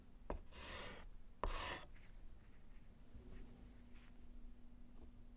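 A gloved hand writes with pink chalk on a small, flat, solid slate chalkboard in a wooden frame. Two separate chalk strokes each begin with a sharp tap and then a bright, airy scratch that lasts under a second. After them comes quiet with a faint steady low hum.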